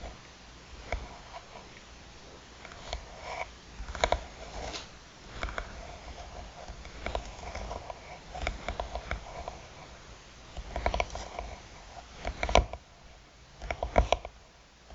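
Long pointed nails scratch and tap the lid of a closed, hollow hard eyeglasses case with a textured dark covering. Quiet, dry scratching runs throughout, broken by irregular sharp clicking taps that stop short with almost no ring.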